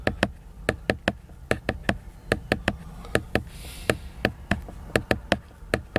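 Fingernails tap, scratch and rub the glossy cover of a large, solid, flat laminated cardboard hardcover book. About twenty sharp, dry, clicky taps land in an irregular rhythm, each stopping instantly with no ring. A soft, bright scratching hiss runs beneath them, swelling briefly near the middle.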